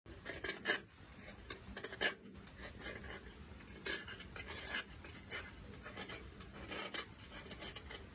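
A metal blade scraper with a green handle scrapes a large solid chunk of white chalky mineral (chalk or clay) held in latex-gloved hands, with loose chalk fragments and dust below. Irregular bursts of dry, bright rasping scrape through the clip, a few sharper strokes standing out over a steady low crumbly hiss.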